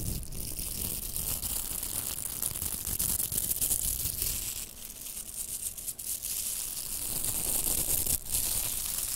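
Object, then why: Plastic velcro hair rollers. Two pink hollow plastic velcro hair rollers are rubbed together and scratched with long nails. The result is a continuous crackling, tearing scratch with bright high hiss and a rumbling low end. It dips briefly in the middle and near the end.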